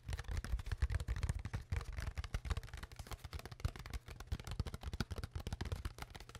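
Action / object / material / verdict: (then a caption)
tap / ridged plastic water bottle / plastic / none. Long fingernails tap and scratch the ridged sides of an empty, clear, hollow plastic water bottle with its cap on, held close in front of the mic. A rapid, uneven run of small hollow clicks and scrapes plays throughout, with a dull low thump under each tap and short dry crackles on top.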